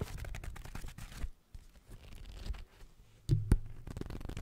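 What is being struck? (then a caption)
Paperback book paper pages. A thick paperback novel with a dark cover is held close and its paper pages are riffled and flipped quickly by long acrylic nails gripping the page edges. The result is a dry, papery crinkle and tearing-like rustle with a low, muffled body, dropping to near silence around 1.3 seconds before resuming. Two sharper, louder flips stand out near the end.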